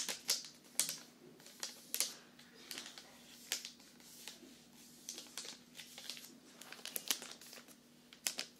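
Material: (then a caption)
Cardboard. A medium cardboard box wrapped in Christmas paper is held in the hand and tapped quickly with the nails. It gives hollow, bright, typing-like clicks in uneven bursts over a faint low hum.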